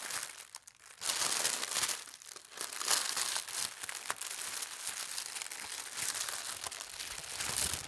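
Thin white tissue paper printed with gold stars is unfolded, lifted and smoothed with fingers and long red nails. After a quiet first second, steady bright crinkling and rustling rise into louder swells as the paper is handled.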